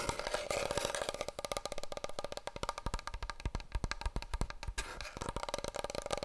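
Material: Cardboard.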